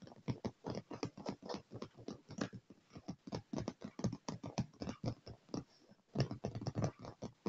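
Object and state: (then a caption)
Leather chair armrest. Fingertips and short nails of both hands tap rapidly on a dark padded leather chair armrest with solid upholstery and scratch across it. About 35 quick, dull, soft thuds patter unevenly, mixed with faint scratching. The sound is mostly low and muffled, with little brightness and very short decay.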